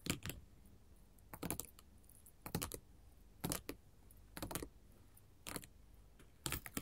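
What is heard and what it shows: A flat sheet of small square glass mosaic tiles in pink, yellow, orange and clear lies on a table and is tapped and scratched with long pointed gold metal filigree finger-claw jewelry, whose chains may jangle. Quick bright clicking taps come in short clustered bursts about once a second, each with a very short ring and quiet pauses between.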